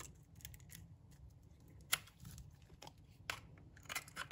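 A metal blade shaves long curls off a solid, dry green bar of soap. Quiet, crisp, bright scraping strokes are heard, with a few sharper snaps standing out over a faint low rumble.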